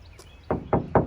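Three knocks on an aftermarket carbon fiber part on a Tesla Model 3 Performance give short, dull, hollow taps that die away quickly. The part sounds like plastic rather than hard and metallic, since it is mainly cosmetic for looks and weight saving, unlike the structural carbon on a McLaren.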